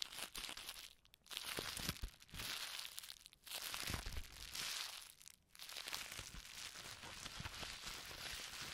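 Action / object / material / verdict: scrape / plastic bubble wrap / plastic / none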